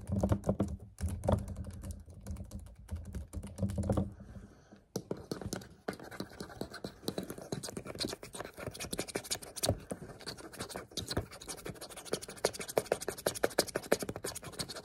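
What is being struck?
Plastic water bottle.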